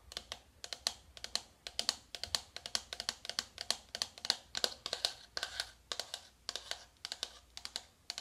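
A small, flat, hollow navy cardboard makeup palette box is held up in hand and tapped quickly with long white-tipped acrylic nails. The result is rapid, irregular bursts of crisp, bright clicking taps that die away almost instantly, with almost no low end.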